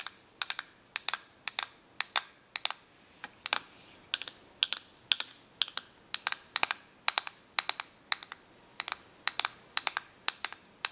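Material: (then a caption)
Plastic. Long nails tap and scratch the clear shell of a small, hollow, hand-sized plastic correction tape dispenser in clear and black with green spools. The result is a rapid run of sharp, bright, dry clicks, many in quick pairs and clusters, with almost no low end and no ring.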